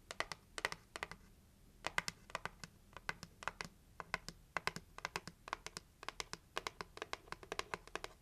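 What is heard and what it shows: Long acrylic nails tap quickly on the lid of a closed, hollow, red heart-shaped cardboard gift box. The taps come in rapid bursts of sharp, bright clicks centred around 2 kHz that die away almost instantly, with only a faint low hum underneath.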